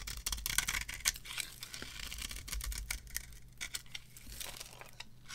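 A metal blade carves shaving curls off a solid, dry, varnished bar of soap held on the palm. Crisp, bright scraping strokes come in quick, irregular succession, with a steady low hum underneath.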